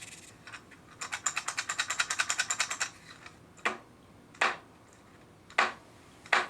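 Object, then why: Hammer head filled with metal coins. A homemade dead blow hammer with loose nickels and dimes in its head in place of lead shot is shaken, giving a fast run of bright metallic coin clinks. Four separate sharper rattling jolts follow, each cutting off quickly. The hammer's blow is judged to be quite dead.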